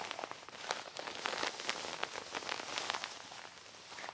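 A medium gold metallic quilted nylon puffer-style bag, soft and padded, lies flat on a table while long nails and fingertips tap and scratch across its shiny foil-like surface. The result is a dense, bright, rain-like patter of crisp crackling taps with almost no low end.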